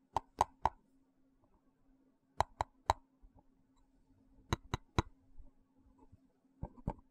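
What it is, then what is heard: Plastic box. A small, hollow, translucent frosted plastic box held in one hand is tapped with the fingertips and nails. Sharp, dry plops with a hollow mid-range tone come in quick groups of about three, separated by short pauses. A faint steady hum sits underneath.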